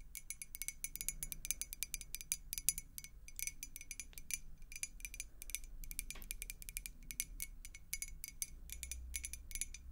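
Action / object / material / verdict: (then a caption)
tap / glass beer mug partly filled with water / glass / none. Long nails tap rapidly on a clear glass beer mug with a blue logo, partly filled with water, held close to the face. The result is a quick stream of crisp, bright clicks with a faint glassy ring that dies almost instantly, over a soft low rumble.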